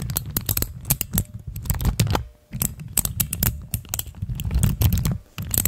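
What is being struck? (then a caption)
Plastic keycaps on mechanical switches. Fingertips press and click the keys of a hand-sized, dome-shaped cluster of pastel plastic keycaps on clear mechanical switches mounted over a stand, while long nails tap them. Rapid, dry clacks and clicks follow each other closely over a thick low thump, with bright, crisp clicks on top and very short decays. The rhythm stops briefly twice before resuming.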